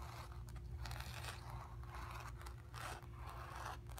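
Long nails on both hands scratch across the surface of a square, acrylic-painted stretched canvas on a wooden frame, hollow behind and resting on carpet. The scraping comes in repeated dry, raspy strokes that blend into a near-continuous scratch over a steady low hum and a faint constant tone.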